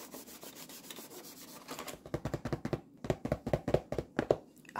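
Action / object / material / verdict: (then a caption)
tap / cardboard tea bag box / cardboard / none. Long nails rub and tap the face of a full black cardboard box of 50 tea bags. A soft, scratchy rubbing comes first, then a run of crisp, hollow taps with a papery click and very short ring.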